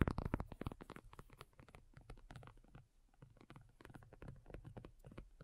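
Long nails on both hands tap and lightly scratch a black folding faux leather iPad cover lying flat, thin and hollow-backed. About 25 rapid, irregular taps come through as soft, dull, low thumps with dry clicks and faint scratching, each dying away instantly. The tapping is loudest in the first second, then settles to a quieter, steady patter.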